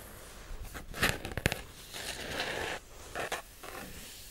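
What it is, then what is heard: Hardcover cardboard planner. A pink marble-print hardcover cardboard daily planner, about A5 size and held upright in both hands, is tapped and scratched with long acrylic nails. Sharp, bright taps punctuate a dry scratching hiss across the cover, with the sound stopping quickly after each tap.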